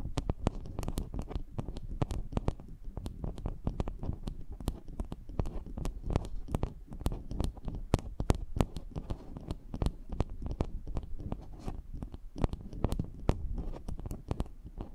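Long nails scratch and tap around the rim and mesh grille of a small, hollow, cylindrical metal microphone capsule, with a second matching capsule standing beside it. The result is a dense, steady stream of close, muffled, low rumbling scrapes, punctuated by many quick, sharp taps and clicks that flick up bright and die away instantly.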